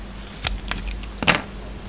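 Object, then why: Bar of soap scraped with a knife blade. A hand-held solid white soap bar with a silver glitter coating is shaved and scraped with a utility knife blade. Short, bright, crisp scraping strokes stand out over a quiet, steady low hum. The first and last strokes are the loudest, with softer ones in between.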